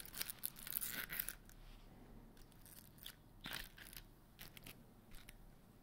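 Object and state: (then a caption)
Glitter-coated foam Christmas bauble. A large white glitter-coated foam Christmas bauble with grey stars hangs by its string from one hand while the other hand's fingertips and nails scratch and tap its rough coated surface. A dense burst of bright, crackly scratching comes in the first second or so, then quieter, intermittent rasps and taps follow over a low, steady background hum.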